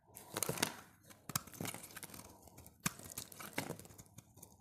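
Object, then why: Bar of soap. A utility knife blade shaves curls from a solid, oval, bright green dry bar of soap held in the hand. Each stroke makes a crisp, crackly scraping sound, like tearing or crinkling, with bright high texture. The strokes come in a quick, uneven series with short pauses between them.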